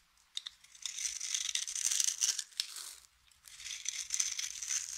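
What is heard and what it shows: A utility knife blade carves and scrapes cubes and flakes off a solid, hand-sized bar of dry yellow soap held in the palm. Bright, dry scraping and crunching crackle in two long bursts, broken by sharp clicks and a brief pause near the middle.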